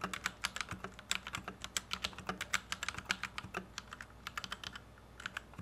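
A white compact plastic Royal Kludge RK71 mechanical keyboard with Gateron Red switches, resting on a felt desk mat, is typed on with the fingertips of both hands. About 35 quick, bright clacks are heard in an uneven typing rhythm, each dying away almost at once over a faint low hum.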